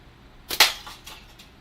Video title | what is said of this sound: Canadian Unisex Natty Team | that sound is amazing cuz it sounds like glass